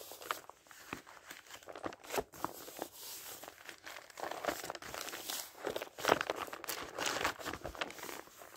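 Fingers turn the thin paper pages of an open, thick dictionary one after another. Each turn gives a soft, crisp rustle and crinkle with a bright papery swish and almost no low end, the flips following closely over the whole clip.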